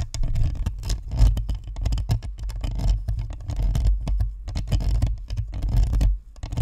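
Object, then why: Plastic ball microphone with perforated metal grille. Long nails scratch rapidly across the perforated metal grille and hollow plastic shell of a white spherical Blue Snowball microphone. The result is a dense, continuous patter of scraping that comes through as a deep, boomy low rumble with faint bright ticks. It fades briefly near the end before resuming.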